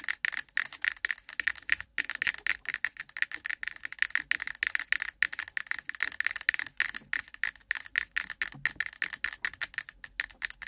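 A hand-sized, cylindrical, ribbed, translucent plastic container full of cotton swabs, set on a microphone, is tapped and scratched fast on its sides with long pointed nails from both hands. A rapid, continuous stream of sharp, dry clicks and scratchy rattles carries a bright tone around 1.8 kHz. Each hit dies away almost instantly, with no low-end body.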